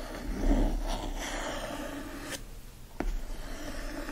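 Fingernails scratch and trace across the textured printed cover of a yellow hardcover book with a green foil design, lying flat and solid. The result is a steady, soft rasping scrape with a dull low body, broken by a couple of brief, sharper strokes near the end.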